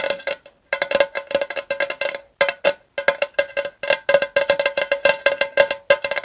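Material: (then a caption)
Thin metal. A small Zippo lighter fluid can of thin, hollow metal with a red plastic spout cap, held in both hands, is tapped rapidly with the fingertips. Quick bursts of light, hollow metallic taps each carry a short tinny ring near 566 Hz with bright overtones, broken by brief pauses. Every tap dies away almost at once, with no low-end weight.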